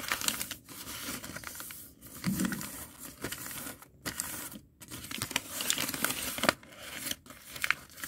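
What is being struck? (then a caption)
Thin sheet of lined notebook paper on a concrete floor. A single thin, already creased sheet of white lined notebook paper lying flat on a concrete floor is pressed, crinkled and rubbed against the floor with the fingertips of both hands, with some tearing. Bright crackling and crunching bursts come in quick, uneven waves, separated by brief near-silent gaps.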